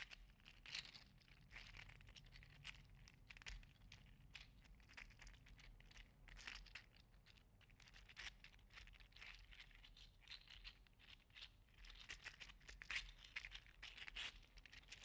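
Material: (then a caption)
Plastic. A green and teal segmented 3D-printed PLA articulated slug toy is held in the fingertips, flexed and dangled so its plastic segments click against each other. The result is a dense, continuous stream of quick, bright, dry clicks and crinkly rattles over about fifteen seconds, with a faint low hum beneath.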